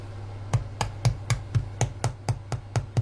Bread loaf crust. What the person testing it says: en tapotant sur la croûte, ça doit sonner creux